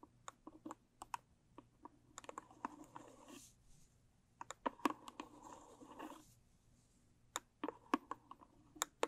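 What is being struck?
Small cardboard gift box tapped and scratched with long nails.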